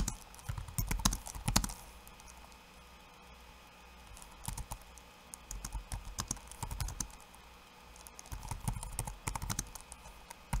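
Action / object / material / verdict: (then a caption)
tap / plastic laptop keyboard / plastic / none. Bare fingertips type in rapid taps on a backlit laptop keyboard with plastic keycaps and hollow key switches over a solid chassis. Bursts of quick, sharp clicking with a low thud under each key come in three flurries separated by short quiet pauses.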